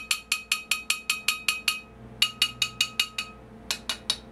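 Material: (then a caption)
Metal. The metal tonearm assembly of a Sony PS-X800 turntable is tapped 18 times without its damper installed, in three runs of nine, six and three quick taps. Each tap gives a bright, high metallic ping centered near 2.9 kHz, with a steady tone lingering underneath. Undamped, the assembly rings like a bell.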